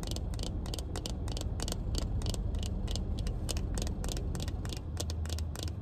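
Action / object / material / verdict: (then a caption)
tap / plastic-frame sunglasses / plastic / none. Black plastic-frame sunglasses held in the hand are tapped and scratched on the frame and lenses with long red nails. Quick, bright clicky taps come in an irregular, rapid stream over a steady low rumble that runs throughout.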